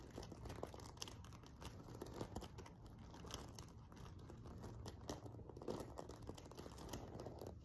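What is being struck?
Sequin-covered fabric cushion.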